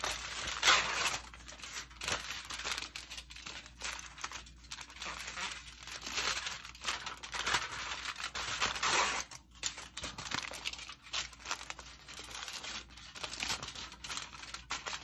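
A thin, loose sheet of household aluminium foil is crumpled, crinkled and torn by hand with bare fingertips over a towel. Dense, bright crackling and tearing noises run continuously, with brief pauses and bursts.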